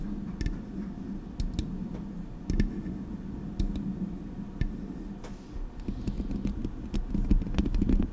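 Long acrylic nails tap the metal body of a Blue Yeti microphone, then scratch and tap its metal mesh grille. Sharp, short clicks with bright ringing edges sit over a steady low hum, growing into a denser scratchy rustle toward the end.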